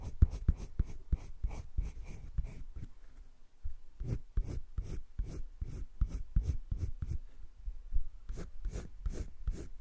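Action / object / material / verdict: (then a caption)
scrape / colored pencil on drawing paper in a spiral sketchbook / paper / none. A colored pencil rubs quick back-and-forth shading strokes across flat cream drawing paper in a wire-bound spiral sketchbook. Each stroke gives a soft, dry scratch with a low, muffled rub underneath and a faint bright papery hiss, with a brief lull partway through.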